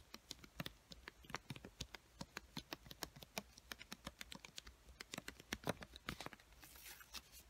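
Long white-painted nails tap and scratch the surface and edges of a small pink paper sticky note pad, a solid stack of paper held close. A quick, uneven run of sharp, dry clicks sounds with almost no ring, followed near the end by a brighter, hissy scratching stroke.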